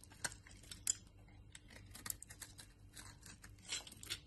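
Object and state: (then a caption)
Laundry soap bar cut into flakes. A utility knife blade cuts a solid brown laundry soap bar into crumbly flakes. Quiet, bright, crisp scraping and crackling comes in a string of short, irregular snaps, with a faint low steady hum underneath.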